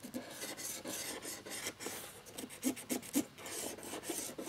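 Fingers working a cotton swab scrub across the lower rows of a plastic laptop keyboard frame with its keycaps removed, rubbing over the exposed plastic key mechanisms. The result is a bright, dry rasping rub in short back-and-forth strokes, with a few sharper scratchy accents standing out.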